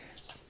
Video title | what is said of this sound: $50 Fresnel lens kit for Bowens-fit lights - NanGuang NG-10X review | even though it rattles and it sounds it sounds cheap but the build quality here is nice uh nice and tough